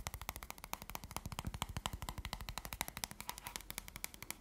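Fingertips and short nails tap fast on the surface of a small, rectangular, red-backed playing card deck in its thin paperboard box, held in the hand. Around fifty quick, dry taps come in an uneven stream. Each tap is a short hollow thump with a bright clicky edge that dies away almost at once.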